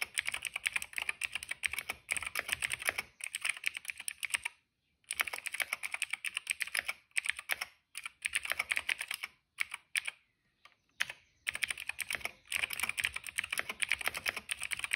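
Fingertips of both hands type rapidly on a retro-style cream plastic mechanical keyboard with black and purple keycaps, producing dense bursts of crisp, bright clicky keystrokes. The typing comes in runs separated by brief pauses, with each key snap short and sharp, centered in the upper mids around 2.3 kHz.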